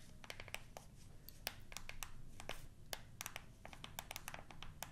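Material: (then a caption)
Plastic. A black plastic TV remote is held upright in one hand while its buttons are pressed and tapped with fingertips and nails. Quiet, rapid, irregular clicks and taps sound crisp and bright, each dying away almost at once, over a soft low rumble.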